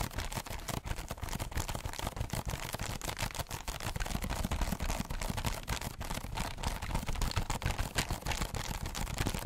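Medium-length pink-painted nails scratch rapidly and irregularly across the hollow underside of a heart-shaped cardboard box covered in textured holographic foil, close to the mic. The dense, steady scratching produces a crackly, papery texture over a low, hollow rumble from the box.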